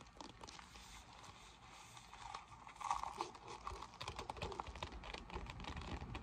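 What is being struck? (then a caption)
Folded vinyl pool inflatable. Long nails scratch and tap across a deflated, folded silver PVC vinyl pool lounge lying flat on a table. The result is a dense run of crinkly, papery scratches and soft taps centered around 1 kHz, quiet at first and growing busier and louder after about three seconds.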